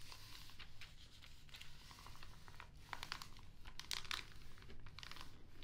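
A soft pink makeup brush is swept across the thin glossy paper pages of an open Glamour magazine lying flat on a wooden table, and a fingertip presses the page. Quiet, soft brushing and crinkling are dotted with bright crackles and crisp paper rustles. The page of the same magazine is turned at the end.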